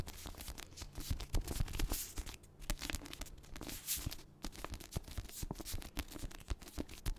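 Long nails scratch and tap the front cover of a paperback copy of The Secret History, its cream textured card cover resting over a solid paper block. Dry, rasping scratches mix with many quick, soft taps that die away almost instantly, with most of the energy in a low, dull thud.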